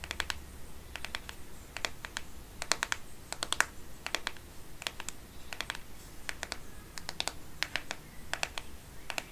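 Long painted nails tap the matte plastic back of a black Microsoft smartphone held sideways. Quick bursts of sharp, dry clicks with no ring land in short clusters over a steady low hum. The clicks stay bright and crisp throughout.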